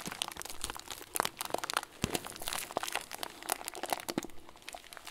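A hand-sized clear plastic bag full of small white plastic pearls is squeezed and crinkled with fingers and thumbs. It makes a dense run of dry, bright crunches and crackles, with the sharp snaps cutting off almost instantly.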